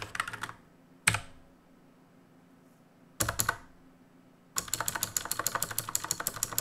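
Two hands type with their fingertips on a black plastic and metal mechanical keyboard with plastic keycaps. Short bursts of bright, clicky keystrokes are broken up by pauses, ending in a steady, rapid run of sharp key clacks.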